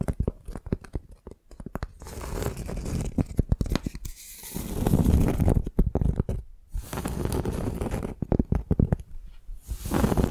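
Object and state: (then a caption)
Tree bark piece. Fingernails scratch the rough, cracked, flaky outer side of a flat piece of tree bark held in both hands. The result is dry, crackly rasping, with quick ticking scratches at first, then longer dense scraping strokes separated by brief pauses. The sound is heavy in the low end and close-up.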